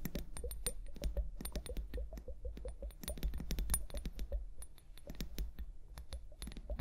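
A small clear plastic liquid hourglass filled with liquid and beads is held upright on fur and tapped with long painted nails. The result is a rapid run of quiet, sharp clicks with bright ticking tops over a steady low rumble.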